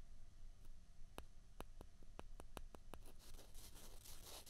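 Two small, hollow, white plastic ping pong balls are rubbed and scraped against each other between the fingers. Sharp, dry clicks ring out over a quiet, low background hum. After about three seconds, the clicks give way to a bright, dense scraping rustle.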